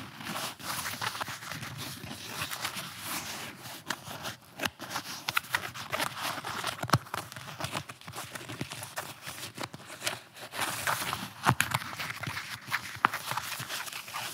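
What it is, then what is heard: Nylon-covered flexible armor plate. A blue, nylon-covered flexible armor plate, torso-sized and held against the chest, is scratched and pinched with fingernails on the fabric near its top edge. The result is a dense, crackly rasp of scratchy fabric sounds, bright in the upper frequencies, with scattered short, sharp clicks.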